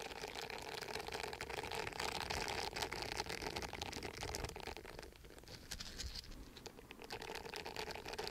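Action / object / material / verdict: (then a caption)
scrape / silicone bristle face scrubber pad / silicone / none. Fingertips and nails scratch across the short bristles of a round, palm-sized orange silicone exfoliating pad, flat and solid, held in one hand close to the microphone. A dense, fast, crackly scratching runs throughout, bright and hissy, with a steady tone near 730 Hz. It eases off slightly around the middle before picking back up toward the end.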